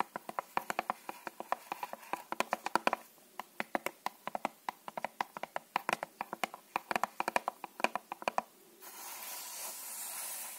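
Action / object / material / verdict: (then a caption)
tap / cardboard playing card box / cardboard / none. A small red-and-white Dal Negro cardboard box of playing cards, held in one hand, is tapped and scratched with long manicured nails. Quick, dry clicking taps come in rapid irregular bursts with very short decay for about nine seconds. Then they give way to a steady, bright hiss of scratching.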